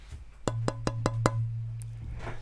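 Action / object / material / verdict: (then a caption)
tap / rosewood fretboard blank / rosewood / resonant. A rosewood fretboard blank, held lightly at the fingertips a third of the way in from each end, is tapped five times to show its tap tone. Each tap produces a short, bright knock over a sustained low tone near 133 Hz that keeps ringing well after the last tap. The tap tone is judged good, with rosewood rated acoustically superior to ebony and easier to work, making it the recommended choice for a first guitar.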